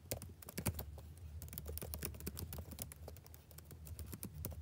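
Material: Plastic.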